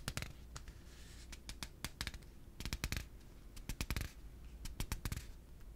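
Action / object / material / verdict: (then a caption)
tap / plastic piggy bank / plastic / none. A yellow hollow plastic piggy bank, held in one hand, is tapped and scratched with the fingertips. Quick, dry clicks come in clusters over a steady low hum, with faint scratching between them. Each tap dies away almost instantly with no ring.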